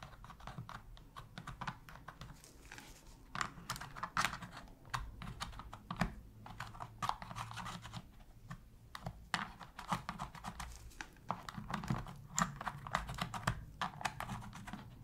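A metal pick scratches and taps around the shoulder buttons of a black, hollow plastic PS3 controller during cleaning. Dry, sharp plastic clicks and scraping ticks arrive in quick, uneven bursts over a steady low background, and each click dies away almost instantly.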